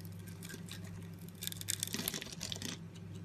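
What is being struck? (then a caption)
Bar of soap. A box-cutter blade scores a palm-sized solid blue soap bar with white stripes, chipping it into small cubes that break off. Soft scraping gives way to a cluster of crisp, bright cracks and crumbles in the middle, over a steady low hum.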